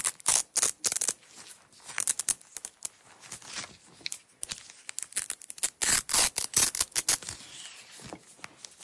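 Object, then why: Nylon hook-and-loop tape roll. Long nails pull and peel a red nylon hook-and-loop tape roll and its unrolled strip. It makes a quick, uneven series of short, bright rasping rips with almost no low end, each burst cut off sharply between pulls.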